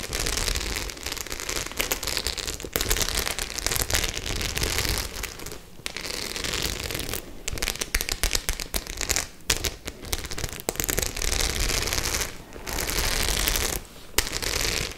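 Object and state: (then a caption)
Studded faux-leather clutch bag. Long nails scratch back and forth over the metal studs of a white studded faux-leather clutch bag held in both hands. The result is a dense, bright, crackling scratch with brief gaps, over a low rumble.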